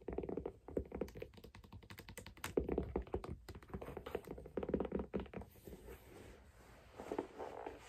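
Long black nails tap rapidly on the side of a white leather figure skate boot with a wooden sole, laced, hollow and empty, resting on a plush toy. The taps are dull and muted, with a hollow low-mid body and almost no ring, coming in dense bursts that thin into a softer, rougher patter near the end.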